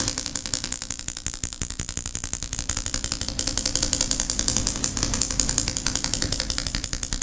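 A medium glass jar candle full of white wax, with a silver metal lid, is held in both hands and tapped and scratched with long painted nails on the glass and lid. The result is a rapid, uneven stream of bright, crisp clicks and scratches that die away almost instantly, over a faint low hum.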